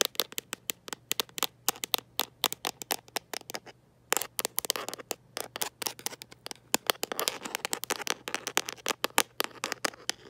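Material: Plastic.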